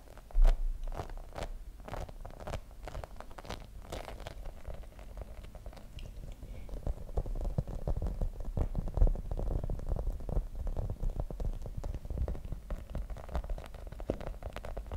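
Fingernails rapidly scratch and tap across the surface of a grey rubber spiky massage ball. The result is a dense stream of soft, dull, low clicks and thuds with a rustling scratch beneath. The sound grows slightly louder and busier in the second half.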